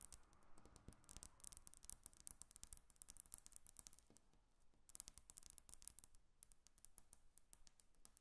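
Long acrylic nail tips tap a flat, solid glass tabletop on both sides of a microphone without touching it. Quiet, rapid bursts of sharp, bright clicks come in flurries, each dying away almost instantly with no ring.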